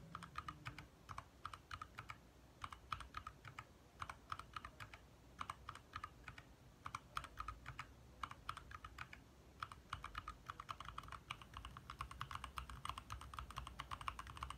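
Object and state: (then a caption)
Mechanical keyboard being typed on. A compact 60% backlit mechanical keyboard with lit plastic keycaps is typed on quickly with the fingertips of both hands. The result is a steady stream of short, crisp clicks centered around 1 kHz with bright upper edges, grouped into rapid bursts with brief pauses between them over a low, quiet background hum.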